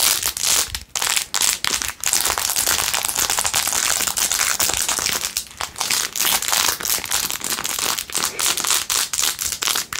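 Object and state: Rhinestone-covered plastic phone case.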